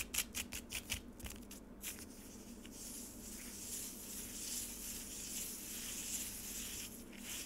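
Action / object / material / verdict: scrape / frozen lemonade in a plastic tray / ice / none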